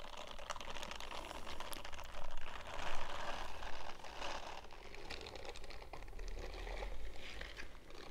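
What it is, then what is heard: Silicone scrubbing glove. An empty purple silicone bristle glove is held and squeezed in bare hands, then fingertips scratch its bristled palm. Soft, crackly rustling and scratching rise in bursts, loudest in the middle of the clip, over a steady low hum.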